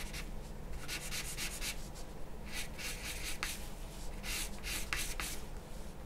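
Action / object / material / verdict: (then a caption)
scrape / charcoal pencil on a sheet of drawing paper / paper / none. A charcoal pencil held in the hand makes short, scratchy strokes on a large flat sheet of white drawing paper lying on a wooden table. Each stroke is a brief, bright rasping burst over a steady low background hum.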